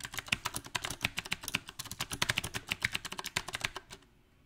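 Fingertips type on a mechanical keyboard with round plastic typewriter-style keycaps on a silver metal frame. A rapid, uneven run of bright, sharp clicks and taps comes with little low end and almost no ring. The typing stops just before the end, leaving near silence.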